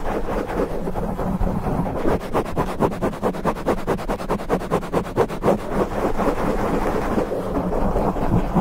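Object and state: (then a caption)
Foam microphone windscreen being scratched. Fingertips of both hands scratch a black foam windscreen on a condenser microphone. The result is a dense, low, muffled rumble with almost nothing bright in it. In the middle, the scratching turns into a quick run of rhythmic strokes before settling back into a steady rustling roar.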